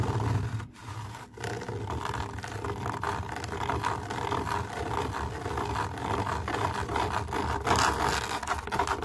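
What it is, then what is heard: Camouflage fabric mesh cover. Long nails scratch and rub across a camouflage fabric mesh cover, making a steady, dense rasping scrape with a low rumble underneath and a tone near 1 kHz. Two brief pauses break it early on, then the scratching runs on continuously with slight swells in brightness.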